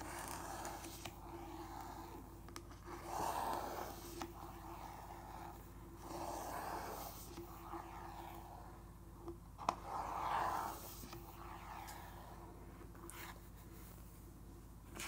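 Fingertips trace, rub and scratch across the printed surface of a thick, glossy page in a large open softcover art book lying on a wooden table, with the same spread kept open throughout. Quiet, breathy rubbing swishes swell and fade in repeated strokes, centred in the midrange around 1 kHz, with faint faster scratches between them. A steady low tonal hum runs underneath.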